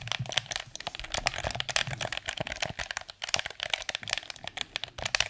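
Fingertips and nails tap the shell of a hollow, blue, hard plastic PS4 DualShock 4 controller and click its buttons. The result is a rapid, steady stream of bright, dry clicks and taps with a crinkly edge, little low end and no ring after each hit.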